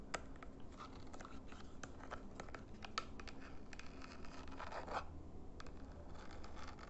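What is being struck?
Plastic remote control.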